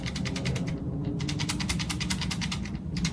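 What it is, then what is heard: Loose shoulder buttons on a handheld console. A handheld game console is shaken, and its loose plastic shoulder and trigger buttons rattle in a rapid, continuous run of light clicks over a steady low hum. This rattle shows the buttons are loose, a fault not found on a Game Boy Advance SP.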